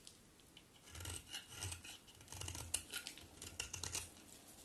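A metal utility knife blade scrapes across a solid white bar of soap held in the hand, shaving off cuts. Bright, dry rasping strokes come in uneven bursts, each with a soft low rumble beneath the scratchy high hiss. The sound is quiet overall.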